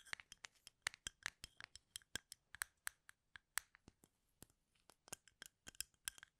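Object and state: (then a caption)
Wooden toothpicks in a plastic cup. Fingernails scratch and flick the ends of wooden toothpicks packed in a small labeled plastic cup, held sideways in both hands. The result is a quiet, irregular run of about 29 short, bright clicks and ticks with no ring, with a brief lull near the middle.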